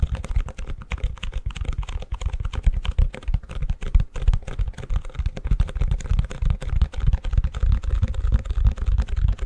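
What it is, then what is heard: Plastic ice cube tray. Fingertips and nails tap and scratch the back of the cells of a long, empty white plastic ice cube tray held upside down. A fast, uneven stream of soft, dull clicks and brushing scratches fills the clip, with a low, thumping body and very little brightness. Each tap dies away almost instantly.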